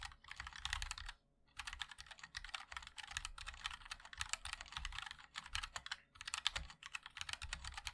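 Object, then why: Mechanical keyboard with plastic keycaps. Fingertips of both hands type continuously on a compact 60% MOD-L mechanical keyboard with a black case, white and black plastic keycaps, and linear switches. A dense run of quick, bright clacks with a soft low thock beneath them, each dying out almost at once. The typing pauses briefly just after the first second and dips again around the sixth second.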